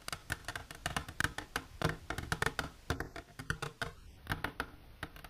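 Long natural nails painted with silver polish tap rapidly on a plastic container. Quick, dry clicks land in dense, uneven bursts, each dying away almost instantly with a hollow low thump beneath a bright edge. A faint high whistle-like tone drifts in near the end.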